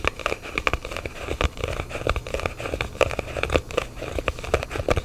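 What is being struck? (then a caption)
Small cardboard box. Fingertips tap and scratch a small, hollow, black printed cardboard phone box held in both hands. Quick, dry taps with a hollow knock land in rapid, irregular bursts. Crackly, scratchy rubbing and faint low thumps fill the gaps between them, and each tap dies away almost instantly.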